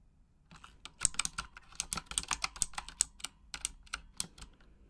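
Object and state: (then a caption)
Plastic mechanical keyboard being typed on. Long acrylic nails tap in a typing motion on the plastic keycaps of a full-size pink Razer Huntsman mechanical gaming keyboard with RGB backlighting. After a brief quiet start, a quick, irregular run of sharp, bright clicks follows, each very short with almost no ring and little low end.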